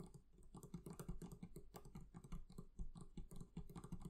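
Fingers tap quickly and repeatedly on the leather covering of a barrel chest. The taps are soft, dull and muffled, with a low thump and almost no ring, running together in an uneven patter like typing.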